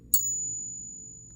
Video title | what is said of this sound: The biggest gold coin I own! Fakes! Friend Mail! I'm a liar? | Hear that? That's brass. That is definitely brass inside.